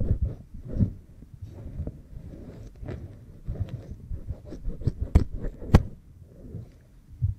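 Fingernails scratch and rub behind the ear of an oiled pink silicone ear microphone, while fingers rest on the other ear. The sound is a close, muffled, bass-heavy rustling with soft thumps, broken by a few sharp, bright scratch clicks.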